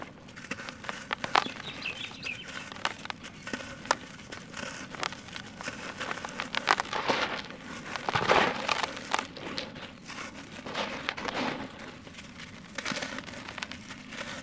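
Dry, solid clods of red-brown dirt are crumbled and squeezed by bare fingertips and palms over a teal plastic bucket partly filled with loose soil. Many short, bright, gritty crackles and crunches are heard, followed by soft hissing patters as the grains pour back into the bucket.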